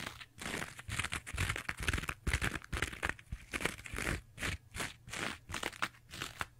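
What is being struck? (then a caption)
Two-layer kitchen sponge with abrasive scouring pad. Long nails scratch the green abrasive layer of a rectangular two-layer kitchen sponge with a yellow foam base. The result is a quick, uneven run of rough, crunchy scratching bursts with a bright, hissy texture and short gaps between strokes.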